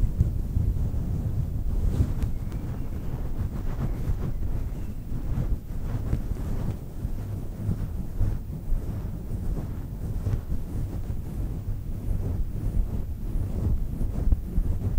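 Long nails scratch down into a fluffy synthetic faux fur microphone windscreen, producing a steady, muffled, wind-like rumble. Soft crackling rustles rise and fall throughout, with almost all the energy sitting deep in the low end and nothing bright above it.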